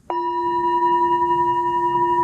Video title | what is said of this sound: It's a Journey: Christina Shiu - Podcast | when you tap the bow you may hear multiple sound ringing at the same time